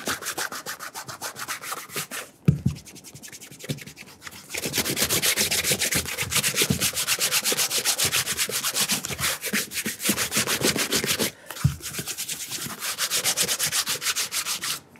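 A burgundy leather cap-toe oxford resting on a mat has its upper rubbed with bare fingers and palm, giving rapid, bright, dry rubbing strokes in a fast, uneven rhythm. The rubbing grows louder and denser after a few seconds, with brief pauses marked by soft low thumps near the 2.5 and 11.5 second points.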